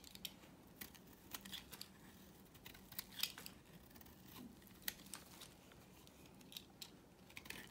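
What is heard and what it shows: A knife blade scrapes and carves a dry, solid, pale yellow rectangular bar of soap. Quiet, dry, bright scraping is broken by short, crisp cuts and clicks at irregular intervals over a low, steady background hiss.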